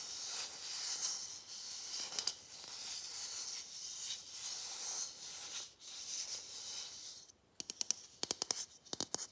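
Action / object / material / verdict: scrape / hollow plastic Christmas ornament ball / plastic / none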